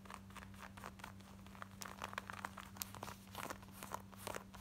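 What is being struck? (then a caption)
Denim shorts. Long nails scratch quickly across the front and waistband of worn, light blue distressed denim shorts with ripped, frayed patches. Many short, dry, bright scratching strokes crackle in uneven bursts over a steady low hum.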